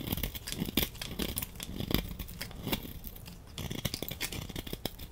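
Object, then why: Bar of laundry soap scraped with a blade. A solid orange laundry soap bar held in hand while a utility knife blade scrapes thin curls off it. Short, dry scraping and crackling strokes come in quick succession, with a brief quieter stretch midway before the scraping picks up again.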